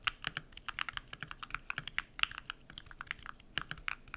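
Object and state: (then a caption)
Mechanical keyboard with PBT plastic keycaps. Fast typing with bare fingertips on a compact modded mechanical keyboard with white PBT plastic keycaps and lubed switches. The rapid key presses give short, crisp, bright clacks with a slight low thock under each press and almost no ring.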